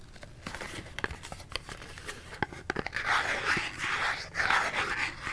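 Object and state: Cardboard soap box.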